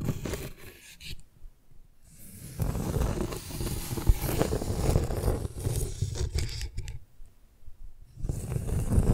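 Long nails scratch and rub the rough, cracked, darker outer side of a flat piece of tree bark held over a microphone. The result is a dry, crackly scraping with a heavy low rumble, coming in irregular bursts with quieter pauses near the start and toward the end.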